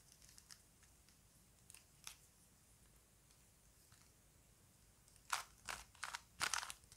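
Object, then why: Plastic puzzle cube. A small plastic Rubik's cube is held in both hands while fingertips turn its layers, giving plastic clicks. Faint, scattered ticks come first, then a cluster of louder, bright, crackly clicks near the end, each dry and quickly gone.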